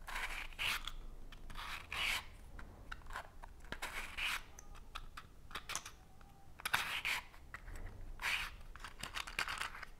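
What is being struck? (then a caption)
Cardboard matchbox with wooden matches. Fingers rub and slide the cardboard drawer of a small cardboard matchbox, its drawer open and full of green-tipped wooden matches. Repeated dry, bright scraping and rustling bursts come roughly every second or two, with quieter scratchy friction between them.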